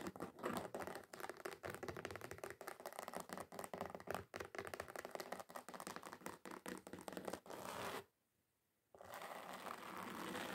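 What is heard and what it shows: Long acrylic nails rapidly tap and scratch the textured surface of a thin, solid, flat red glitter-covered card sheet. Quick, crackly clicks and scrapes run densely for about eight seconds, then stop for a brief silence. A steady, bright scratching follows through to the end.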